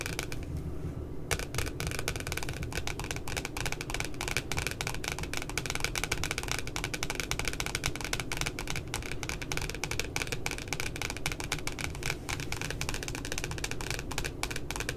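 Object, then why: Cardboard notebook cover tapped with fingernails. Long glitter nails tap and scratch the glossy cardboard cover of a pink spiral notebook showing a single puppy. After a quieter first second, a dense stream of quick, dry clicks and scratchy brushes sets in with bright edges over a steady low hum.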